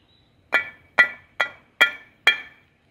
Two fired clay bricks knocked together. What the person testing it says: si golpeas dos ladrillos entre sí deberían hacer un ruido Como metálico como como campana